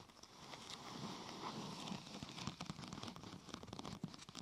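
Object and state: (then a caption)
Thin plastic sheet scratched and tapped. Fingertips and long nails scratch and tap a large, thin purple plastic protector sheet curved into a hollow arch over the microphone. A soft, continuous scratching hiss builds up, then gives way to sharper, crinkly taps and clicks with bright edges that stop almost instantly.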